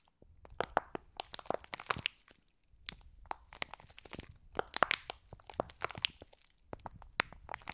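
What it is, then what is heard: Plastic pack filled with foam beads. A flat, clear, hand-sized plastic slime pack filled with small green foam beads is squeezed and scratched with long blue nails close to the microphones. Dense bursts of sharp, dry crunching and crackling come in two clusters separated by a brief quiet gap, with bright, crisp clicks over a faint low rustle.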